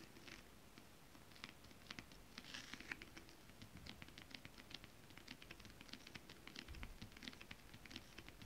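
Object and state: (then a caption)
Holographic scale-printed fabric. Long acrylic nails on both hands tap rapidly across flat, holographic mermaid-scale printed fabric. The sound is a quiet, dense patter of short, dry clicks centered around 1.9 kHz with bright edges, each dying away almost instantly over a soft low rumble.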